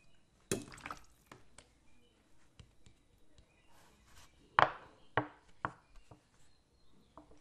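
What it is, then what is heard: Plastic water bottle partly filled with water. A clear PET bottle with a blue cap, partly filled with water, is tilted and shaken, then held upright. The water sloshes inside in short, bright splashing bursts separated by near silence. Each slosh dies away almost at once.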